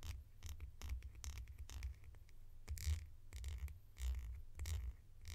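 A red hollow plastic cap, held in the hands, is scratched with long nails. Quiet, rapid bright scratching bursts come in an irregular flurry over a steady low rumble.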